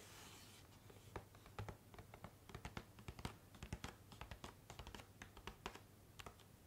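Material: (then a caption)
Cardboard. Fingernails scratch and tap the top surface of a flat, hollow, rectangular pink printed cardboard box held up in front of the camera. Quick, dry clicks and scrapes with bright, papery edges repeat irregularly over a low steady hum. The box ends with hands resting on it in a soft rubbing motion.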